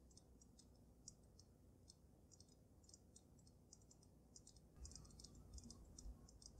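Long nails tap rapidly on the sides of the glass dome of a water-filled dragon snow globe. The taps are quiet, bright, short clicks in an uneven rhythm over a low background rumble, and they grow louder and denser in the last couple of seconds.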